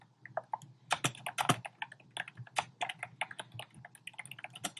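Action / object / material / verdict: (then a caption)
tap / plastic keyboard keys / plastic / none. Fingertips type rapidly on a compact black plastic typewriter-style keyboard with round plastic keycaps. A quick, uneven run of short, dry clicks and taps has bright clacky tops over a faint low thud from the keys bottoming out. Each tap dies almost instantly, with brief quiet gaps between bursts.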